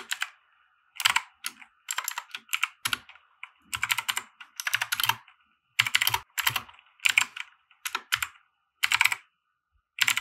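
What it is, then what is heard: Plastic mechanical keyboard. A compact 60% mechanical keyboard with white plastic keycaps and RGB lighting, resting on a felt desk mat, is typed on with the fingertips of both hands. Quick bursts of sharp, bright plastic clacks come in uneven runs separated by brief pauses, each keystroke dying away almost instantly with no low-end thump.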